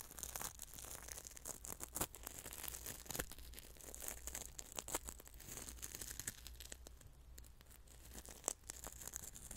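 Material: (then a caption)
Salt. Fingers and a small utensil stir and rub coarse salt grains inside a small, partly filled clear glass bowl. The result is a dense, gritty stream of fine scraping and crunching with sharp clicks throughout, bright and high-pitched with a low steady hum underneath.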